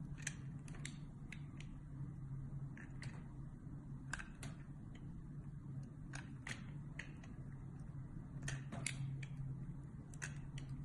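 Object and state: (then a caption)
Bar of soap being shaved with a blade. A metal box-cutter blade shaves and scores the surface of a solid white and purple soap bar held in the hand, curling off strips. Repeated short, crisp scraping ticks with bright high edges sound over a steady low hum throughout.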